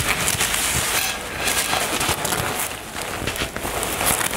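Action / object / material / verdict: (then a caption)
scrape / nylon fabric cosmetic bag / nylon / none. Long nails scratch across a soft, filled black floral nylon toiletry bag and along its zipper area. The result is a steady, bright, crackling rustle with small sharp scrapes and little low end.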